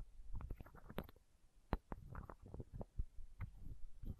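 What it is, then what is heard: Plastic eye drop bottle. A small, hollow, clear plastic eye drop bottle, held against the microphone, is tapped and scratched with long nails. The result is a rapid series of soft, close, low-pitched knocks with dull, rumbling scratches in between and almost no ring after each hit.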